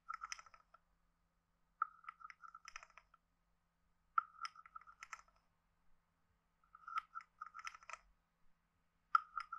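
A wooden stick taps the head of a hand-sized, hollow carved wooden frog guiro and scrapes along its ridges. This produces five separate bursts of quick, dry, hollow clicks and rasps centered on a woody tone around 1.3 kHz, with bright crackly edges. Each stroke dies away almost instantly, with near-silence between bursts.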